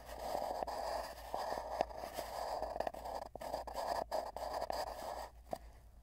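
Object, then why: Cardboard tube. Fingertips of both hands rub and tap the surface of a long, hollow, spiral-wound cardboard tube lying on a bedsheet, with a microphone inside the tube. The result is a continuous hollow, boxy scratching with a resonant midrange tone, broken by quick dull taps and brief pauses over a faint low hum.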